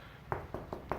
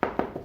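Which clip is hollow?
The second.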